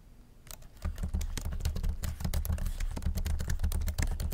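Fingertips type steadily on a MacBook laptop keyboard with low-profile black plastic keys set in a silver aluminum body. After a quiet start, rapid, uneven keystrokes begin, each a short, dry tap with a soft low thud beneath a bright, crisp click. The clicks die away almost instantly.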